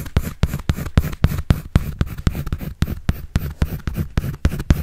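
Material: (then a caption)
Paper. A pencil draws and scratches on a white paper sketch pad held in the hand, making quick, uneven strokes. Each stroke gives a short, dry scrape that stops almost at once, with most of the sound sitting in a low, soft rumble and only a faint brightness on top.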